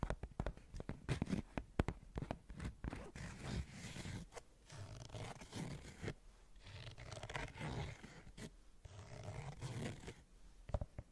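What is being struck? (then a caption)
Rubber sneaker sole. Long fingernails scratch the brown rubber sole and rubber edge of a white Converse canvas sneaker. The result is a stream of soft, low, rasping scrapes broken by quick tapping clicks, with little high-end brightness.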